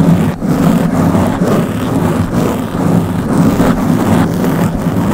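Long blue-painted nails on both hands scratch the round black foam windscreen covering the head of a Blue Yeti microphone. This makes a steady, dense, rumbling scratch that is heavy in the low end, centred around 170 Hz, with almost no bright content. It stays loud and continuous throughout, with only slight dips.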